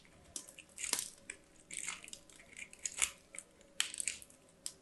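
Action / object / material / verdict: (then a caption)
scrape / soap bar on a stainless steel grater / soap / none. A small white bar of solid soap is rubbed against a small handheld stainless steel box grater by hands with long black nails, shaving flakes onto a pile of dyed soap. Repeated quick grating strokes give a bright, crunchy rasp, mostly high with almost no low end, separated by short quiet pauses.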